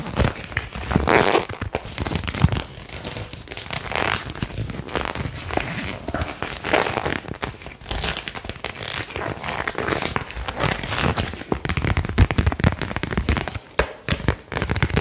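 A single thin printed paper card with a blue edge stripe is bent, curled and snapped with the fingertips, then held flat between both hands. Dense, continuous crinkling and crackling is heard, with sharp snaps and a soft low rumble underneath, at a fairly steady level throughout.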